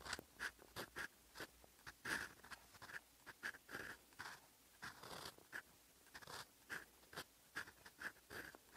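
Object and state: Paper being written on with a steel fountain pen nib.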